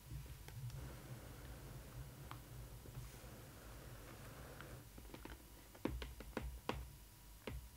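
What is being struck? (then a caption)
Cardboard box. Long nails tap and scratch the printed cardboard side and top of a Disney Ily 4ever Stitch doll box. Soft, papery scratching runs over a steady low rumble, then sharp, dry, short taps cluster toward the end.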